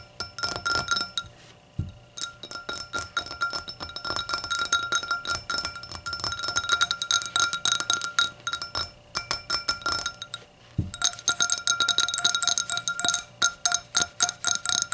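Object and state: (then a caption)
Hurricane glass. A hurricane glass is tapped and fidgeted with, giving a dense, fast series of bright, short glassy clinks and taps. The rhythm is uneven, with brief pauses, and the high tones ring clearly.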